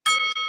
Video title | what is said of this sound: 🔴 TODAY IS A WONDERFUL FRIDAY EVENING!!!!!!!!!!!!!!!!!!!!!!!! (LIVESTREAM WITH DALE!!!!!!!!!!!!!!!) | flick it like that and you can hear it